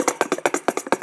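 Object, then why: Metal box containing a plastic shaker egg. A shiny silver hexagon-shaped box with a plastic shaker egg inside is shaken. It gives a quick series of short, dry rattling bursts, about nine in just over a second, with a mid-range body and a bright high hiss on each shake.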